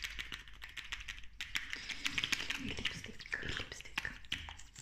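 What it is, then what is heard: Plastic lip gloss tube. Long nails rapidly tap and scratch a slim pink plastic lip gloss tube with a metallic cap. The result is a dense run of quick, bright plastic clicks over a scratchy, hissy rasp, with some low thumps underneath.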